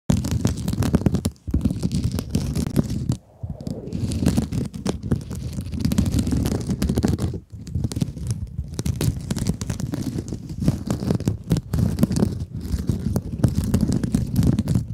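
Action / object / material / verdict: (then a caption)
scrape / mesh-covered scrub sponge / mesh sponge / none. A rectangular blue scrub sponge with a glittery woven mesh cover, soft and compressible and held in both hands, is scratched and squeezed with long acrylic nails. The result is a dense, continuous, low crunchy scratching and crinkling with very little high-end, broken by brief silent pauses near 1.4, 3.2 and 7.5 seconds.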